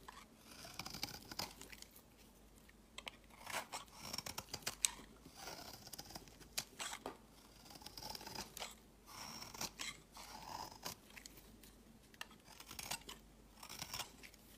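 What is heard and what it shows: A utility knife blade scrapes and carves fine shavings from the edge of a solid, palm-sized pale green bar of soap held in the hand. The sound is a quiet series of bright, crisp scraping and crunching strokes in irregular bursts, with little low end and almost no ring after each stroke.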